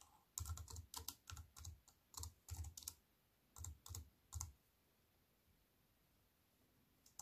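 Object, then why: Plastic computer keyboard. Fingertips and long white-painted nails tap on a compact wireless keyboard with black plastic keys and a grey metal-look frame, resting flat on a wooden table. Quick bursts of typing give short, dry clicks with a soft low thump and a bright plastic clack. The typing stops after about four and a half seconds, leaving quiet until a single tap at the end.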